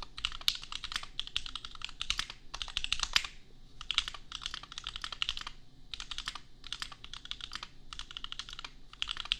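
Fast fingertip typing on a $250 custom compact mechanical keyboard with Gateron Milky Yellow switches and red and pink plastic keycaps. Rapid, bright clacky keystrokes arrive in dense bursts separated by brief pauses, with the sound centered near 3 kHz and each strike dying away almost instantly.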